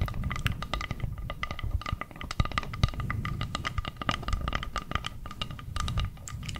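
Long purple nails scratch and tap the surface of a round, flat, solid bamboo board about the size of a plate. The result is a dense, fast run of short, dry clicks and taps over a soft scratching texture, with a low woody thump underneath and bright, crisp edges on each tap.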